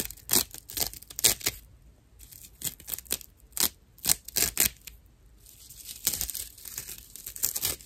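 Long nails scratch the rough surface of a dry natural loofah sponge, a fibrous plant material. The sound is a series of bright, dry, raspy scrapes in short bursts with brief pauses between them. Toward the end it becomes a more continuous crackly scratching.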